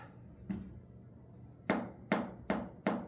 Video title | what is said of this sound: আল্লাহর রহমত,,সৌদি বসে শ্বাশুড়ির পাঠানো গাছের ১ম কাঁঠাল খেলাম!❤️ #saudi_blogs | sound শুনলেই কিন্তু বোঝা যায় যে কাঁঠালটা পাকতি কিনা